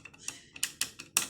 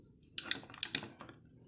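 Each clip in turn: First: Quick, bright plastic clicks and rattles as a footswitch cap is wiggled, showing it is loose. Second: Crisp, very short high clicks with no rattle: a pedal footswitch actuator that sits firm and tight.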